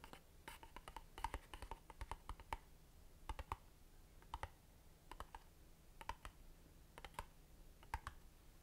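A long, narrow, hollow cardboard box of Satya Jasmine Blossom incense, printed red and white, is held in the hands and tapped and scratched with long dark nails. Quiet, dry, hollow taps with a mid-pitched knock come in quick little clusters, with soft scratching between them. Each tap dies away almost at once.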